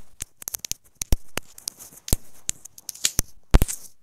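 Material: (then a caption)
Plastic. Long nails tap a small, hollow white plastic inline microphone on a wired earphone cable resting on a bed cover. An irregular series of sharp, dry clicks follows, each with a bright edge and a low thump, separated by short pauses and quiet rustling.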